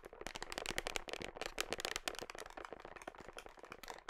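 Long nails tap and scratch the side and red label of a large, hollow black plastic whey protein tub held against the body, close to the microphone. A rapid stream of crisp, bright, clicky taps mixes with dry scratching. Each tap dies away almost instantly with little low-end thud.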